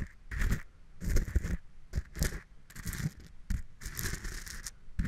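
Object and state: Coarse salt crystals scraped in a glass.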